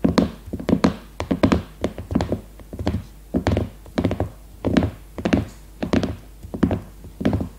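Long red nails tap and knock on the cover of a cellophane-wrapped, leopard-print hardcover notebook lying flat. Quick clusters of dull, thunky taps come in uneven bursts, each with a short, low-pitched knock and almost no ring. The sound stays soft, muffled and woody rather than bright.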